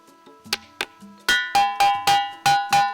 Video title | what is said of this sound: PITON BERSEMBUNYI DI SELAH SELAH RANTING POHON - PETUALANGAN PANJI | batu yang memiliki unsur besi yang sangat tinggi kalau diketok nih ini bunyi